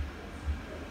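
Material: Nothing is struck.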